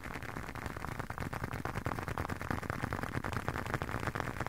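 A leather wallet is tapped with no talking, giving a steady run of soft, dull taps at about three per second. The taps are low and muffled with almost no ring, over a faint constant background.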